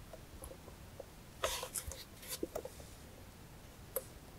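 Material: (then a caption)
Metal. Long nails tap and scratch the flat lid and embossed sides of a closed, hollow, rectangular brass-colored metal jewelry box with a Greek key border and a front clasp. Quiet, short metallic taps with a faint ring around 530 Hz mix with bright, hissy scratching bursts in the middle of the clip, followed by a final isolated tap.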